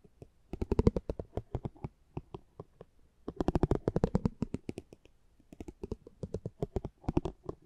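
A metal spiked pinwheel is rolled across the face of a small, thin cardboard driver trading card held in the hand. It produces rapid, dry ticking clicks in three bursts, with pauses between them. The clicks are crisp and short with no ring, and most of their weight sits in the low range.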